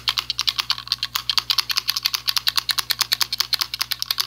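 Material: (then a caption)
Plastic. A small, hollow white and light-blue plastic selfie ring light is tapped with fingertips and nails while being turned in the hands. About 33 quick, dry, bright clicks follow one another in a steady, even patter, each dying away almost at once.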